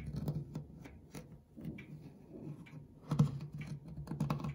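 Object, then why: Cast brass ornaments and metal clock dial in a wooden case. Fingertips with short nails scratch and quickly tap the ornate cast brass corner ornaments and the brushed flat metal dial plate of a clock dial set in its wooden case. The result is a soft, low-heavy patter of short clicks with a scratchy texture, with sharper taps standing out near the middle and end.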